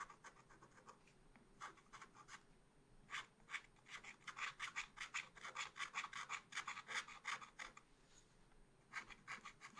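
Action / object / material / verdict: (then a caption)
scrape / wax-coated scratch art paper scratched with a wooden stylus / coated paper / none. A pointed wooden stylus, held in the fingers, scratches lines into a black wax-coated scratch art paper page in a small spiral pad lying flat on a table. It makes a quick series of short, dry, bright scratching strokes with a rasping texture, with quieter pauses near the start and end and a dense run of strokes in the middle.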